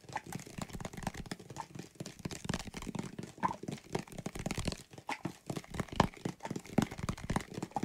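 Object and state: Plastic bottle of soapy water.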